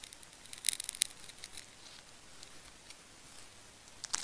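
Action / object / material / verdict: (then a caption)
scrape / wound plastic tape ball / plastic tape / none. A solid pink and blue wound plastic tape ball is held in the fingers while a craft knife slices and scrapes through the tape layers near the core. Quiet, crisp, high-pitched ticks and scratches cluster in short bursts, with a brief bright crackle at the end.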